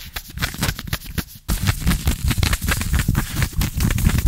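Fingertips and nails scratch quickly and aggressively at green ribbed knit trouser fabric stretched over a bent knee, right next to the microphone. The result is a dense run of soft, rough scratching strokes heavy in low rumble, with bright, crackly edges. It grows louder and more continuous after a quieter first second and a half.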